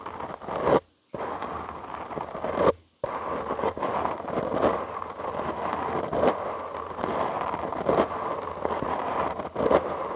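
Short nails and fingertips scratch a soft, porous black foam windscreen on a studio microphone. The result is a dense, steady crackling rasp with bright edges and periodic louder scrapes. It stops briefly twice near the start before running on continuously.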